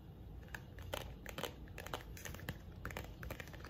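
A busy run of small, dry ticks and crinkly scratches, each dying away almost at once. Fingernails are tapping and scraping a thin paper booklet, and the light, flexible cover gives only a soft papery click. A low room hum sits underneath.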